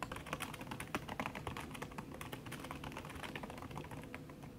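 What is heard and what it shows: Fast typing with fingertips and long red nails on a backlit aluminium laptop keyboard whose plastic keys sit under a red silicone skin. A dense, continuous stream of soft, muffled key taps with bright clicky tops and a low thump beneath, each tap dying away almost instantly.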